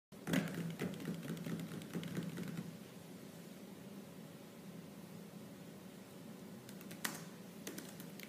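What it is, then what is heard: Laptop plastic keyboard typing. Fingertips with purple-painted, medium-length nails type rapidly on the black plastic keys of a silver laptop keyboard. A dense burst of quick, bright clicking taps comes first, then fades into a quieter stretch with a steady low hum. A sharp tap lands near the seven-second mark, followed by a few lighter clicks.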